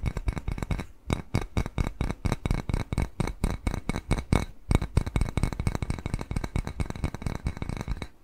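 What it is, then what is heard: Ceramic bowl tapped with fingernails. A small, hollow, empty white glazed ceramic bowl shaped like a cat face is held upright and tapped quickly with fingernails. The taps come in a rapid, uneven patter of short, dry clicks, each with a low, hollow thump and a faint bright tick that dies away almost at once. The tapping pauses briefly near one second and again just before the five-second mark.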